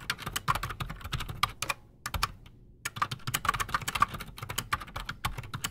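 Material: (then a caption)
PBT plastic. Both hands type fast with their fingertips on a solid, full-size black Redragon Shrapnel K589 mechanical keyboard on a desk, fitted with Outemu Silent Sky silent switches and Razer PBT plastic keycaps. The result is a quick run of soft, clicky key taps with a dull thud underneath and a bright top around 1.2 kHz. There is a brief pause near the two-second mark before the typing resumes.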